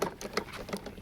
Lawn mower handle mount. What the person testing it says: you can hear it clanking around so whenever you're like moving the handle